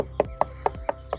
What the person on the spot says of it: knock and listen for any Hollow spots